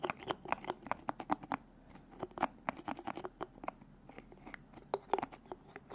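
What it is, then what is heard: Glass bottle with plastic screw cap. A small glass bottle of orange liquid with a white plastic screw cap is held close while fingers grip, twist and tap the cap. The result is a rapid string of sharp, dry clicks and scratchy ticks, about 27 short hits with almost no ring, set over a faint hiss.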